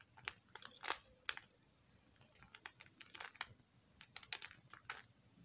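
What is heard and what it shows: A metal knife scrapes a small piece of pink soap held between the fingers, shaving it into crumbs. The result is a quiet series of short, crisp, bright scraping and crackling bursts spread unevenly across the clip, with almost no low end.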